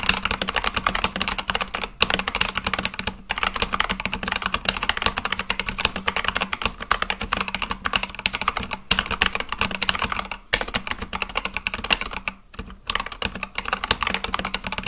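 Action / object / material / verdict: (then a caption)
tap / mechanical keyboard with plastic keycaps / plastic / none. Fast, continuous fingertip typing on a full-size Akko mechanical keyboard with white and light-blue plastic keycaps on a black case. It makes a dense stream of short, bright plastic clacks centered around 2.8 kHz with a faint low thump underneath. Brief pauses come near 2, 3, 9, 10.5 and 12.5 seconds.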